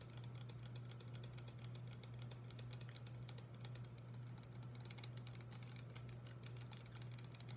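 A small blue plastic spray bottle with a pump nozzle, hollow and apparently filled with liquid, is held in both hands and tapped with long acrylic nails. Quick, irregular, bright clicking taps patter continuously over a steady low hum.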